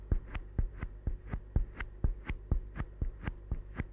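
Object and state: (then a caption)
Rubber stress ball. A small solid green rubber or silicone stress ball, held close by the fingertips, is squeezed and scratched or rubbed with the fingers. The result is a steady run of soft, deep, muffled thumps, about two per second, each with a faint brushing edge and very little ring.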